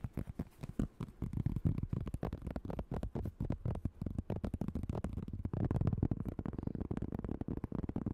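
A flat, round cork board about 25 cm across, solid and thin, is tapped and scratched quickly with long acrylic nails and fingertips. The result is a fast, chaotic stream of soft, dull, low taps with almost no ring, blurred by faint scratching, and no bright edge.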